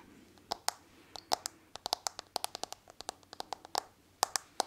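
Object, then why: Smartphone in a hard plastic case. Fingernails tap and scratch the back of a smartphone in a hard plastic case with a marble-like pattern, held in one hand. About 24 sharp, dry clicks come in an irregular rhythm, each with a short hollow ring near 780 Hz and a bright, high tick that dies away almost instantly. Faint scratching fills the quiet gaps between taps.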